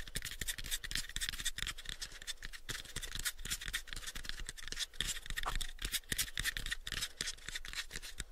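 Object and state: Light wooden box.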